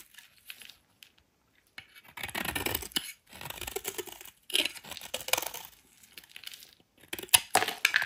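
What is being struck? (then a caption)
Soap bar shaved with a metal blade. A solid rectangular white soap bar held in the hand is shaved with a metal utility knife blade. Bursts of crisp, bright scraping and crackling strokes, with short quiet gaps between them, sound as the blade cuts through the soap.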